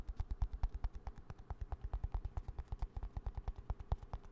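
A small green plastic hand cream squeeze tube, held upright, gets rapid fingertip and nail tapping close to the mic. About 38 quick, dry taps land in a loose, uneven rhythm, each a soft low thud with a brief click on top. Every tap dies away almost instantly.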